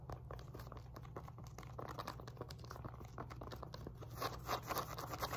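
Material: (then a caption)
Woven fabric. Long nails rapidly scratch a black and pink woven elastic fabric glute resistance band resting on a lap, working over both the woven fabric and its rubberized label patch. The result is a fast, dry, crinkly scratching over a steady low hum, with brighter, louder scrapes toward the end.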